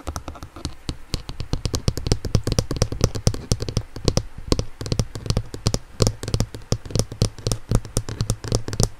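Long nails and fingertips tap rapidly and continuously on the blue hard plastic ankle cuff of an inline skate, a hollow shell held in the hand. Each tap is a short, dry click with a bright edge, over a low hollow resonance that rings briefly from the shell.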